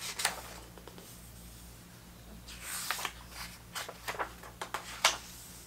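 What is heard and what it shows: Fingertips slide over the glossy photo pages of an open vintage hardcover book about 1970s soccer and turn them. Soft bright swishes of skin on paper build into crisp snaps and flicks as each page lifts and falls. A faint low, steady hum sits underneath throughout.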